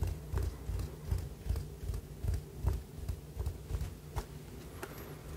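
A small, hollow white ribbed ceramic cup or jar is held in both hands in front of a fluffy microphone and tapped and scratched on its ribbed outer wall and rim with fingertips and short nails. The result is a quick, slightly uneven series of soft, dull, low thumps that die away almost at once, with faint scratchy ticks and a steady low hum underneath.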